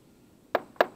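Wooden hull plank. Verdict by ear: Solid.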